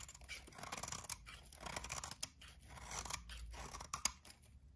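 A metal utility-knife blade shaves and scrapes crispy curls off a solid rectangular bar of dry white soap held in the hand. The sound is a quiet, bright, crunchy scraping in repeated strokes, with a couple of sharp, dry snaps along the way.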